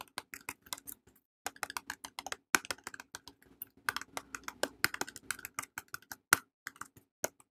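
Long painted nails tap and scratch the faces of a small red printed cardboard box holding a soap bar, which is held in both hands. The result is a rapid, irregular run of dry, crisp clicks with bright tops and no ring, separated by faint scratchy rustles and a brief pause near the start.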